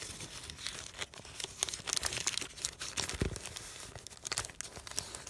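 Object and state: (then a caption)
Crumpled paper sheet. A hand-sized sheet of thin, wrinkled white paper with faint text, resting on a canvas cushion, is rubbed and crinkled under the fingers and palm, possibly with small tears. Dense, bright crackling and crinkling runs throughout, broken by sharp snaps and one duller, fuller rustle near the three-second mark.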